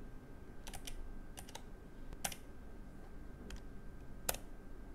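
Fingertips type on a Keychron K3 low-profile mechanical keyboard with brown switches, grey plastic keycaps, a metal frame and red backlight. Short, bright key clicks come in scattered bursts over a quiet, low background rumble, each press dying away almost at once, with one sharper press near the end.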